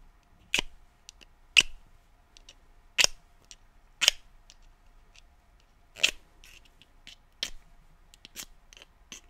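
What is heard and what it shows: A small, hollow yellow cardboard matchbox, held up in both hands, is tapped and scratched with painted fingernails. About six sharp, bright ticks are spread irregularly across a quiet background, each dying away almost instantly, with fainter scratchy clicks in between.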